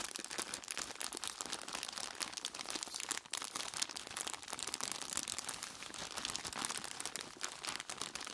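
Hands in blue nitrile gloves squeeze and rub a large clear plastic bag full of ice cubes with their fingertips. Dense, bright crinkling and crunching carries on throughout, with little low end. A brief lull falls just after three seconds.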